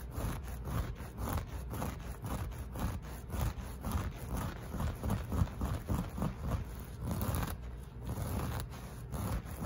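Short fingernails and fingertips of both hands scratch and rub across the pile of a beige looped or bouclé carpet or rug covering a flat surface. The result is a steady run of quick, dull, low scraping strokes with a soft rustling texture and almost no bright edge.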